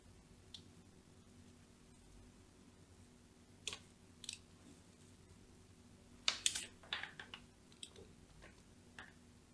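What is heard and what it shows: A long thin blade, held by a hand with long nails, scratches parallel lines across the surface of a solid white, palm-sized bar of soap held in one hand. Soft, bright, crisp scrapes and clicks come in short bursts, clustering into a quick run of strokes near the end, over a faint steady low hum.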